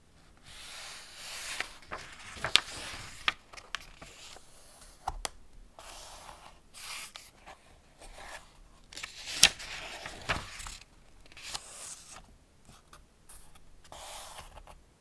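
Fingertips and a palm rub across the paper pages of an open Ladybird hardback picture book about a man and his car, then turn them. Soft, bright, dry rustling swells and fades, broken by nine sharp, papery crackles as the pages flip over.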